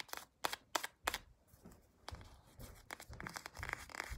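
Long acrylic nails scratch along the printed back of a small, soft plastic CeraVe cream tube held sideways. Four sharp, bright scratching strokes come first, followed by a quieter, denser run of rough, crinkly scraping. The sound is soft and close, with short, dry strokes that barely ring.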